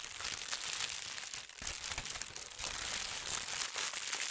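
Fingertips with red-painted nails smooth and rub a large, thin white tissue paper sheet with a gold star print lying flat on a bed. The result is a steady, bright crinkling and rustling that keeps going with small soft swells, with almost no low end.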